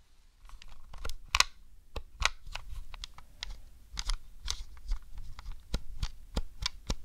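A fingertip with a long decorated nail taps and presses the yellow C-buttons on a grey hollow plastic Nintendo 64 controller held in the hand. An irregular series of short, dry plastic clicks and taps follows, each dying away almost instantly, with bright clicky tones over a faint low background.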